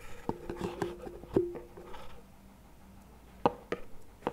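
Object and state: Plastic tub knocked with wooden sticks.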